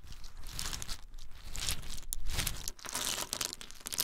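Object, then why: Whole pine nuts in hard shells. Small, hard-shelled whole pine nuts in their shells are held in cupped bare hands and shaken or rubbed between the palms. This makes a dense, continuous crackling and crunching rattle with bright, sharp clicks over a low rumble. The sound briefly dips a few times and then swells again.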